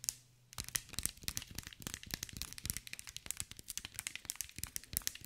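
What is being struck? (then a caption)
Glass mosaic ball. Long white nails tap and scratch a hand-sized green mirror-glass mosaic ball. After a brief quiet start, a rapid, uneven run of dry, bright clicks and scratchy ticks follows, each one sharp and short with almost no ring.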